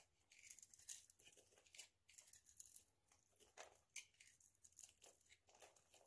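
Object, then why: Bar of soap with a nail polish coating. A hand-sized, dry oval bar of soap coated in orange nail polish, held in the hand, is scraped into flakes with a utility knife blade. The result is a quiet run of bright, crisp scraping and crinkling bursts with dry tearing textures, each stroke cutting off quickly with almost no low end.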